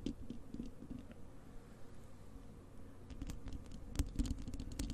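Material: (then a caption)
Metal mesh. Long acrylic nails on both hands scratch the bare, hollow wire-mesh metal grille of a large desktop microphone. The result is a dense, low, rumbling scratch with irregular soft clicks and taps, growing louder near the end with a few sharp, bright nail strikes.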